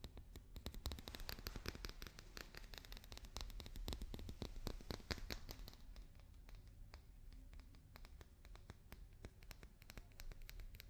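A papier-mâché daruma doll is tapped and scratched with fingers and nails. Quick, irregular taps and light scratching sounds come in a dense stream, each a short dull knock with a bright click that dies away almost instantly, over a low rumble. The sound stays quiet and close throughout.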